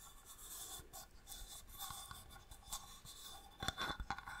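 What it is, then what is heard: Inlaid wooden box tapped with nails. Long nails tap and scratch across a small, hollow wooden box with a striped marquetry inlay lid, held in the hand. The sound is quiet, with soft scratchy rubbing and light ticks over a faint steady tone near 3.5 kHz. Toward the end it turns into a quick cluster of sharper, dry clicking taps that die away almost instantly.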